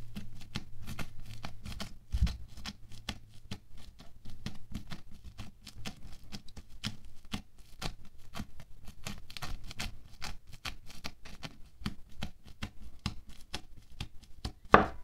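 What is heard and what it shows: A wooden stick repeatedly pokes and scratches into a soft, solid mound of orange polystyrene-bead foam clay on a white table, crunching the beads. Quick, crisp crackles and ticks patter steadily over a faint low hum, with one louder crunch near the end.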